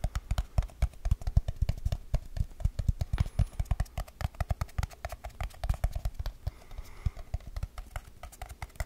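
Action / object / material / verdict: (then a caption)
tap / small aluminium tin can / aluminium / none. A small, hollow, round silver aluminium tin can, held near the microphone, is tapped quickly with fingertips and nails on its lid and sides. The result is a rapid, uneven stream of short, dull, low thumps mixed with brighter nail clicks, each dying away almost at once.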